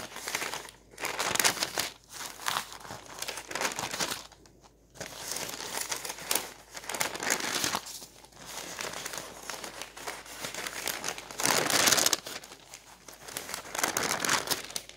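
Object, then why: Thin glossy paper flyer. Fingertips grab, crinkle and turn the thin pages of a glossy white and orange hardware-store advertising flyer lying open on a table. Bright, irregular bursts of paper crinkling and rustling come with brief quieter pauses and a few louder crunches.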